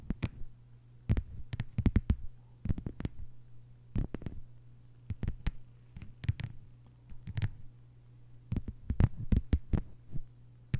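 Long white nails of both hands tap and scratch a thin, flat green plastic cutting mat lying on a table. Quick, sharp clicks come in uneven clusters with quiet scratchy gaps between them, over a steady low hum.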